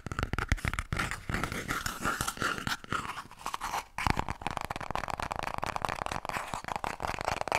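Long painted nails rapidly scratch and tap a small, full roll of white toilet paper held close to the mic. It makes a dense, papery crunching and scraping with quick soft taps that stops briefly around the four-second mark. The scratching then resumes at a steady, fast pace.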